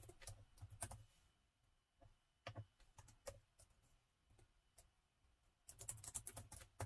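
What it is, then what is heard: Plastic laptop keyboard being typed on. Two hands type with their fingertips on the chiclet-style plastic keys of a gold metal laptop. Quiet, short clicky taps land in fast bursts at the start and end, with sparser single taps in between. Each tap has a soft low thump, a bright tick, and almost no ring.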